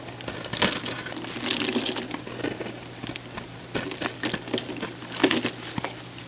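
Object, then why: Bar of soap. A solid orange oval bar of soap, hand-sized and held in the hand, is cut and scratched with a metal box-cutter blade. Dry, bright scraping and crinkly crumbling sounds come in bursts as flakes and chunks break away.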